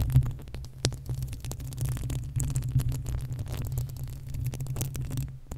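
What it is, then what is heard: Metal microphone grille being scratched. The uncovered, hollow metal mesh grille of a desktop condenser microphone is scratched with long acrylic nails on both hands. The result is a dense, continuous low rumble and throb around 125 Hz, with frequent short, bright scratching clicks scattered throughout.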